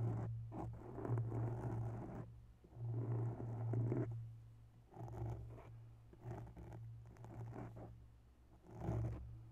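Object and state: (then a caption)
Foam microphone windscreen being scratched. Long bare nails slowly scratch both sides of a grey foam microphone windscreen, making soft, muffled rustling in long swells that rise and fade. The sound sits mostly in the low range, with a steady low hum beneath the scratching and almost no bright content.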